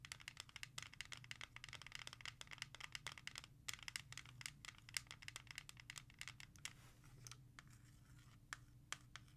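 Long nails scratch and rapidly tap a Lynyrd Skynyrd CD in a clear plastic jewel case with a dark cover. Dozens of sharp, bright plastic clicks and scratchy rasps fire off quickly over a faint low hum, each click stopping almost instantly.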